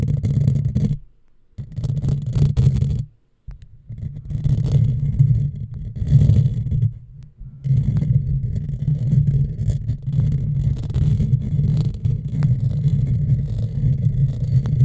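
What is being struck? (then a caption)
Metal mesh microphone grille. Long fingernails of both hands scratch across a hollow black metal mesh microphone grille, producing a dense, booming scraping rumble concentrated in the low end. The scratching runs continuously with short silent pauses near the one-, three- and seven-second marks.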